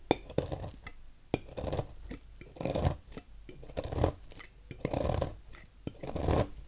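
A thin knife blade cuts shavings off the end of a solid cream-colored bar of soap held in the hand. Soft, crunchy scraping strokes swell and fade in an uneven rhythm, broken up by sharp little clicks. The strokes have a dry, bright grainy edge over a low body.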